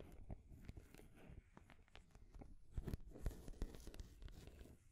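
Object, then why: Painted wooden stacking rings and ball. Long grey nails tap and scratch on a painted wooden stacking ring toy, with colorful solid wooden rings on a peg and a wooden ball on top. Quiet, dull, clicky taps with very short decay mix with dry scratching in an irregular, fairly quick rhythm, growing somewhat louder midway.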